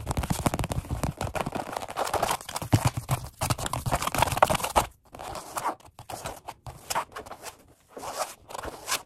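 Both hands tap rapidly with their fingertips on a black padded workout bench seat with a red stripe, vinyl over foam. The taps come as a dense, continuous stream of short, dull pats with a crinkly, crunchy texture and little ring. After about five seconds the tapping drops to softer, sparser bursts separated by brief pauses.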